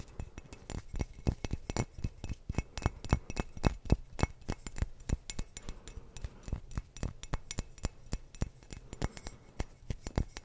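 A clear glass wine bottle with a teal cap is held horizontally in front of a microphone while fingertips and nails tap and scratch its base. About fifty quick, irregular taps are heard, each a short, dry knock with a soft low thump and a bright glassy tick that dies away almost instantly, with faint scratching between them.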